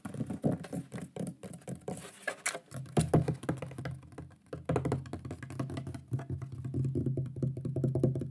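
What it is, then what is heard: Thin wooden plaque. A shield-shaped thin wooden plaque with a pyrography lion design is tapped rapidly with fingertips and nails across its face. The result is a quick, steady patter of dull, woody knocks, mostly low around 160 Hz, each dying away almost instantly with little brightness.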